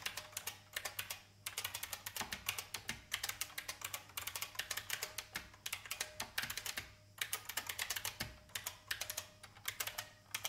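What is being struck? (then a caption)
Plastic mechanical keyboard. Fingertips type on a vintage IBM mechanical keyboard with plastic keys. The result is a run of bright, crisp clicks with a short decay, coming in quick bursts separated by brief pauses. A faint steady low hum sits underneath.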